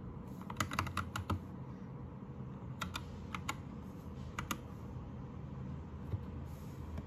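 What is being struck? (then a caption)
Plastic mechanical keyboard keys. A white 60% Anne Pro 2 mechanical keyboard with plastic keycaps, lit blue, is typed on with fingertips. Short bursts of sharp, clacky keystrokes come in clusters near the start and in the middle, separated by pauses, over a steady low hum.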